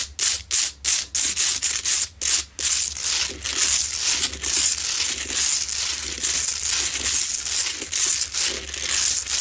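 Long nails scratch and tap on a lit, medium-sized, solid, rough Himalayan salt crystal lamp. About seven short, separate, bright scraping bursts give way to continuous rough, hissy scratching, with a faint steady low hum underneath.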